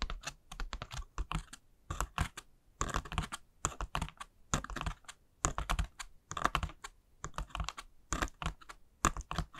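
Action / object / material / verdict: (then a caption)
tap / pleated paper honeycomb lantern / paper / none. Long nails scratch and tap along the folds of a hollow white pleated paper honeycomb ghost lantern. The result is a rapid, irregular run of short, dry papery clicks and rustling scrapes with soft low thuds, coming in quick clusters separated by brief pauses.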